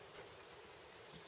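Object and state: Nothing is struck.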